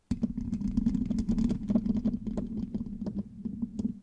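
Long nails quickly scratch the rounded, hollow metal mesh grille of a black microphone with both hands. The result is a dense run of sharp, crackly scrapes over a steady low hum, with bright clicky transients throughout.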